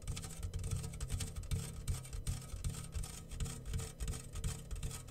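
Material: Metal, grains.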